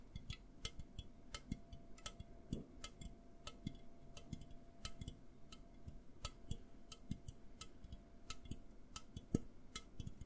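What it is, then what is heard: Aluminum soda can. An A&W aluminum soda can is held close to the mic and tapped and scratched with fingernails. Quick, dry, clicking taps come in an irregular rhythm over soft scratching, with a faint steady tone underneath. The playback is quiet.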